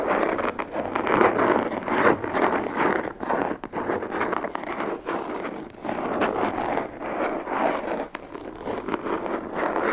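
A hollow, black molded hard plastic pistol case, held in both hands, is scratched and tapped with long fingernails along its ribbed surface. The result is a dense, continuous run of dry scratching and clicking, concentrated in the midrange. Its loudness rises and falls with short dips between strokes.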